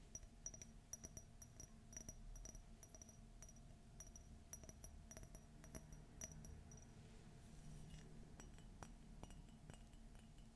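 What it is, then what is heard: Empty ceramic mug. An empty, hollow white glossy ceramic coffee mug with a gold Minnie silhouette is tapped and scratched with fingernails. Quick, bright clinks ring briefly with high overtones over a steady low rumble, mixed with soft scratching.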